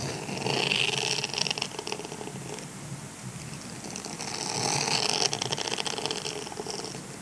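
Fingertips and nails scratch and flick the long bristle rows of a flexible, solid grey silicone scrubber sponge. The result is a dense, bright, crackling rustle of rapid little ticks that stays steady and swells slightly louder twice as the scratching continues.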